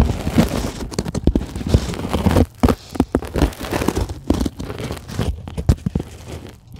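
Long glittery acrylic nails scratch and tap the surface of a flat white polyethylene packing foam sheet, soft and solid, lying on a table. The result is a dense run of dry, crinkly scratching and short, dull taps with a low, muffled body and no ring, broken by brief quiet gaps and fading softer toward the end.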